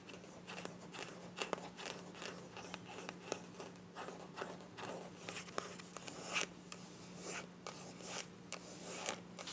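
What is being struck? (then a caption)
Small plastic cosmetic tube. Long nails scratch and tap a small, filled, white plastic cosmetic tube with a mint cap. The sound is a run of many dry, sharp clicks and short scratchy rasps with a bright edge and no ring. A faint steady low hum sits underneath.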